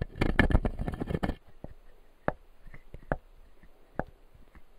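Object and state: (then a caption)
Plastic dental teeth model. Fingertips scratch and tap the white plastic teeth of a clear acrylic dental jaw model. A dense burst of rapid, dry scratching and clicking fills the first second and a half, then gives way to sparse, short, crisp taps separated by quiet pauses.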